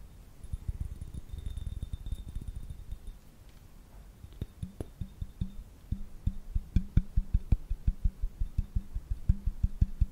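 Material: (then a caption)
Glass. A small, elongated dark blue-purple glass piece is held near the microphone and tapped and scratched rapidly with fingertips and nails. Dense, soft, low thuds in the first few seconds give way to a brief quiet pause. Sharper, distinct taps with a faint bright glassy ring follow.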